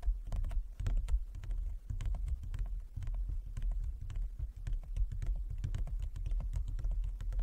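Fingertips and long nails of both hands tap rapidly across a large, flat, inlaid wooden chess board. The result is a dense, continuous patter of short, dry taps: soft low thuds with bright clicking edges that stop almost instantly, holding a fairly steady quiet level throughout.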